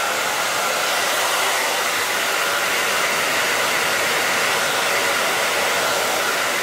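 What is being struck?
Nothing is struck.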